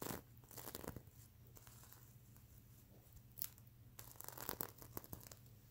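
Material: Plastic sequins.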